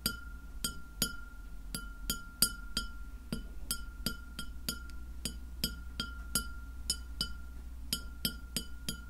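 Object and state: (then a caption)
Glass plate tapped with fingernails. Long fingernails on both hands tap a large, round, solid white glass plate that lies flat and empty, striking it 22 times in an uneven rhythm. Each tap gives a sharp, bright clink with high overtones. A steady ringing tone near 1.4 kHz carries between hits over a low background hum.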